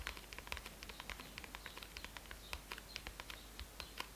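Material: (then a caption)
Faux leather. Medium-length manicured fingernails and fingertips of both hands tap and scratch the printed white faux leather (PU) hardcover of a closed A5-size bullet journal with a snap strap, lying on a red cloth. A quiet, rapid run of sharp, bright clicks and scrapes rises over a faint low hum. Each tap dies almost instantly against the solid book.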